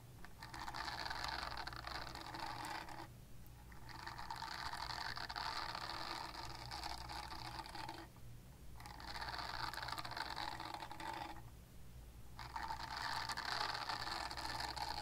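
Long nails scratch a purple silicone body scrubber with nubs, making a dense, bright, raspy scratching in four long stretches broken by short pauses. A steady low hum runs underneath throughout.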